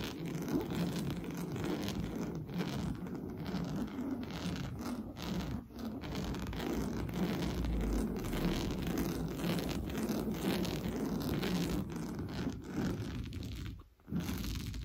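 Fingernails scratch and rub fast across an orange coarse-weave fabric sofa cushion. The result is a continuous, dense scratchy rustle with a strong low body and little high content. It is briefly interrupted by a short gap near the end.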